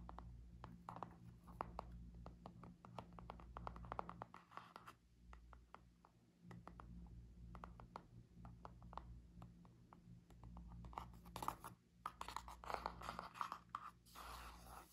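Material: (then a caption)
Cardboard. Long nails tap and scratch the laminated cardboard cover of a small spiral notebook held edge-on, closed and solid with a stack of paper. Quick, dry clicks and brief scratchy strokes come in irregular bursts over a steady low hum, with short pauses between runs.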